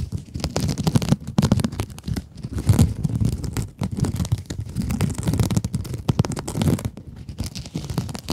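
A small pink scrub sponge with a glittery mesh surface is scratched with long acrylic nails. The clip is a dense, continuous stream of rapid, dry scratching and crinkling strokes with a low, muffled body and little brightness, rising and falling in bursts.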